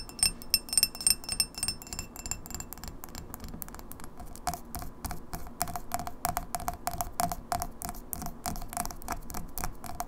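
Long nails tap quickly on the sides and base of a clear, etched, empty pint glass held on its side. The first couple of seconds bring louder, bright clinks with a high ringing tone. These give way to a steady stream of short, crisp ticks, about three per second, each with a brief mid-pitched ring over a low background hum.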